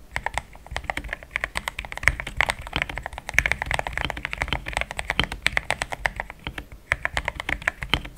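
Fast typing with the fingertips of both hands on a compact pink-white plastic mechanical keyboard with thick plastic XDA keycaps, a polycarbonate plate and linear switches, resting on a desk mat. A dense, steady run of short, bright, clacky key strikes with a midrange pitch and almost no ring, continuing for the whole clip.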